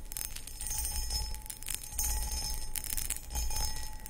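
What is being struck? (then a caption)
Cut crystal footed bowl. Long acrylic nails scratch across a hollow, empty, medium-sized cut crystal glass footed pedestal bowl. The sound is a continuous, uneven scratchy rasp with bright, high glassy ringing tones and short swells of louder strokes over a steady low rumble.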